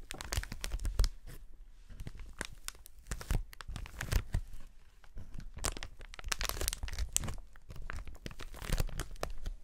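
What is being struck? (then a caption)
Plastic air cushion packaging sheet. Gloved fingers and fingertips squeeze and crinkle a large, clear polyethylene sheet of hollow, inflated air-pillow packaging held up in the air. The result is a dense run of crackling, tearing-like crinkles with bright edges over soft, low handling thumps, rising and falling in bursts with no lingering ring.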